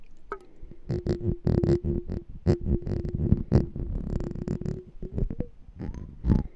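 Fingernails tap rapidly on the walls of a small, hollow, clear glass jar with a black label and a gold metal lid, held sideways and partly filled with water. The taps sound as dull, low thuds with short, dry decays, over a faint steady low tone that runs through most of the clip.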